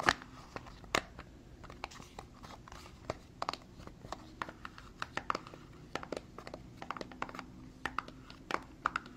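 A small, dark, printed cardboard Tarte makeup box, hollow and likely holding a product, is held in both hands and turned while being tapped and handled with fingertips and medium-length nails. Quiet, dry, irregular taps and clicks with a papery crinkle, centered around 1–2 kHz, stop short with no ring.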